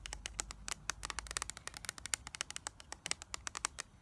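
Long nails tap and scratch the clear plastic lid and printed back of a flat, rectangular eyeshadow palette with a black plastic base, a hollow case full of pressed shadows. About thirty quick, bright plastic clicks come in an uneven rhythm, each dying away almost instantly, with faint scratchy rasps between them.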